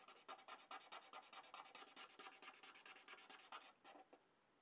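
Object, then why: Felt-tip marker on a paper sheet. A blue felt-tip marker rubs back and forth across a sheet of paper in quick fill-in strokes as it colors the surface. Each stroke gives a dry, scratchy, bright rasp with no low end, coming in a steady rhythm before slowing and fading out near the end.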